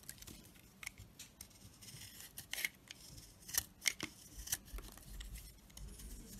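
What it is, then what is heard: Crusted bar of soap being scraped. A box-cutter blade scrapes the white crusty coating off a round solid bar of soap with a dark core, held in the palm, shaving the crust away in flakes. The sound is a quiet series of short, crisp, bright scratches with almost no low end, each stroke dying away instantly.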